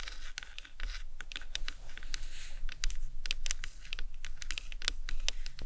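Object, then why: Plastic skull model. The top of a large, hollow white plastic anatomical skull model, resting on a towel, is tapped with the tips of long acrylic nails. It gives a rapid, uneven run of light, dry clicks and ticks with bright, scratchy edges that stop almost at once, over a low, steady rumble.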